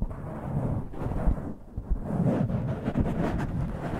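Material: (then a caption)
Foam. Fingertips and nails of both hands rub and scratch a soft, porous black foam windscreen over a microphone capsule. The result is a dense, muffled rumble of scraping and brushing, heavy in the low end with almost nothing bright. A few dull thumps rise above the steady friction.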